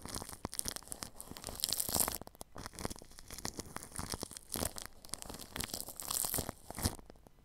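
A paintbrush brushes over plastic cling film wrapped across a ball microphone's grille. Dense, bright crinkling and crackling rustles surge and fade in waves, with sharp tearing-like textures and soft low thumps underneath.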